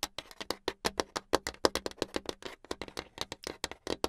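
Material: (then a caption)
Hardboard. Long acrylic nails tap fast on a flat, solid brown hardboard clipboard with some paper near the edge. About 28 quick, dry clicks come in a rapid, slightly uneven stream, each with a bright attack and almost no ring.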